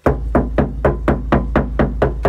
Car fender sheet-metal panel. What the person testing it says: Nah ini saya ketok nah terdengar sekali di bagian dalam